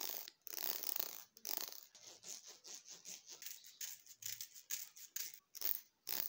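Fingertips and thumbs run and flick across the fine teeth of a long, solid red plastic hair comb, scratching them. The result is a quiet, irregular series of bright, dry scratchy strokes and quick ticking flicks with almost no low end, each burst stopping sharply.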